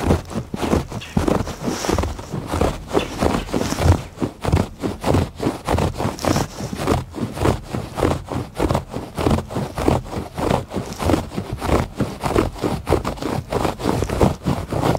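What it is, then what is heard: Woven fabric rug being scratched. Fingers repeatedly scratch the textured surface of a thick woven fabric rug lying on a porch floor. The result is a steady series of dull, rough scraping strokes, heavy in the low end with little brightness, each stroke fading quickly before the next.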